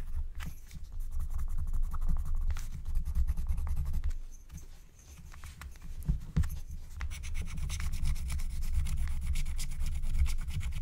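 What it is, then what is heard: Scratch-art coated paper being scraped. A wooden stylus scratches and rubs across a thin black-coated scratch-art card lying flat, while the other hand holds a second stylus. Dense, rapid scratching strokes run throughout over a low, rumbling rub, easing briefly in the middle before growing louder and brighter again toward the end.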